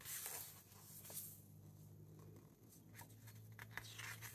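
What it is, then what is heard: Paper book pages. Fingertips slide across the matte paper pages of a large hardcover book from a Wizard of Oz and Wicked collection, lying open on a wooden table, and turn them one by one. Soft, bright paper rustles and quick flips sit over a steady low hum throughout.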